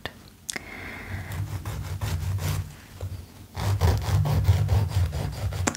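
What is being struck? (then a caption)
Foam-core emery nail file. Fingertips and nails are drawn back and forth along the abrasive surface of a long, thin, solid purple cushioned foam-core emery nail file resting on a towel. The result is a soft, low, rumbling scratch-and-rub texture with faint bright clicks. It grows louder and denser in the second half.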